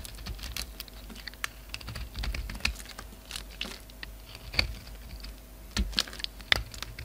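A solid black bar of soap in a red rim is held in the hand while a utility knife blade chops and scrapes brittle black chunks off it. It makes a quick, irregular series of dry, crisp, bright clicks and snaps over a soft scraping hiss, with a few sharper cracks standing out.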